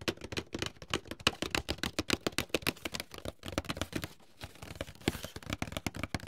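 A medium, closed, hollow white paperboard box, held upright and then laid flat, is tapped rapidly with fingertips and short nails. About forty quick, dry, hollow taps land in an uneven rhythm, with a brief pause near the four-second mark. Each tap stops almost at once, giving crisp, papery clicks over a soft low thump.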